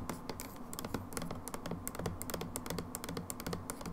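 Long acrylic nails tap and scratch the label of a medium, hollow plastic hand wash bottle that seems full, held on its side on a wooden table. A rapid run of light, clicky taps with short scratches follows throughout, sounding much like typing.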